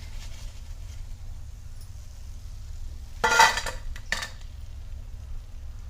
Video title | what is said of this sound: छोट्याशा पार्टी साठी पटकन तयार होणारा पदार्थ मी केला आता सगळे म्हणतात पार्टीच्या मेनूमध्ये हा फिक्स | एका ताटामध्ये टाकून किती मस्त असा कुरकुरीत आवाज येतोय